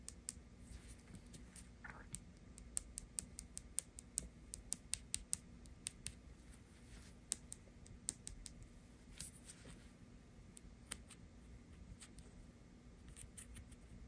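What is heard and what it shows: Long acrylic nails tap again and again on the small, hollow molded vinyl/plastic face and cheeks of a green-haired fashion doll held in hand. Each tap is a quiet, sharp, bright click that stops instantly, scattered irregularly over a faint steady low hum.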